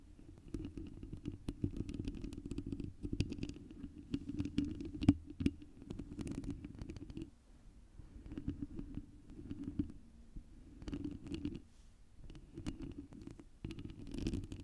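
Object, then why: Foam-covered microphone windscreen. Long nails on both hands scratch and tap the surface of a round foam windscreen on a microphone. The result is a dense, muffled, low rumbling scrape with soft tapping and a few sharper taps. It eases off and returns in bursts through the clip.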